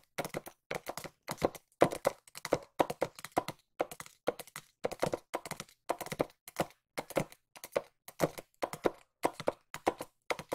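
A small, hollow white cardboard box is tapped with long nails close to the microphone. Quick clusters of dry, hollow taps come in steady bursts separated by short pauses, each tap a short, mid-pitched knock that dies away almost instantly.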